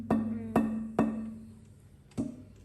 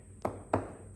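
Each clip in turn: First: Four knocks on a thin plywood panel, each leaving a clear tone near 220 Hz that hangs on briefly. Second: Two dull, short taps on a laminated hardwood panel; the wood sounds tonally dead with almost no ring.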